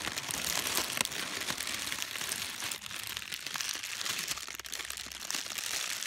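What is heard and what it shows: A wad of thin pink tissue paper is crinkled and squeezed by fingers with long pastel nails, giving a dense, continuous bright crackle. The rustling stays steady throughout with quick sharp crinkles.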